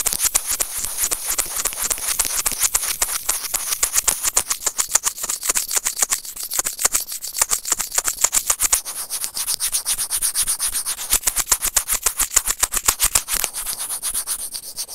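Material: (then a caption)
Plastic. A small hollow white plastic earphone mic remote is gripped and scratched with white plastic serrated tweezers. The result is a dense, bright, crackling rasp of rapid, uneven scratches over the whole clip, with almost no low end.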